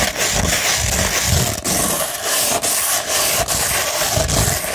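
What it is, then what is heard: 100-grit sandpaper scratched with fingernails. Long red nails scratch along the length of a hollow tube of rolled beige 100-grit sandpaper. The result is a continuous, dense, gritty rasp that is bright and hissy up high, over a soft low rumble. Brief dips mark the breaks between repeated long strokes.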